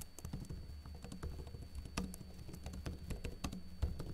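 Fingertips with short blue-painted nails type rapidly and lightly on a backlit plastic laptop keyboard with hollow keycaps. Quiet, dry taps patter in an uneven stream, each clicking short with a bright edge over a steady low hum.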